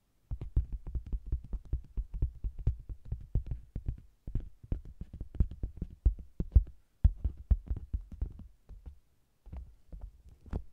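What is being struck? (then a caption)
Faux leather cosmetics bag. A round, hollow, soft faux-leather (PVC) cosmetics bag with a red text-printed lid and zebra-striped sides, with a microphone zipped inside, is tapped across its flat red front by long green-painted nails. The result is a fast, irregular run of deep, muffled thumps with very short decay, broken by brief pauses.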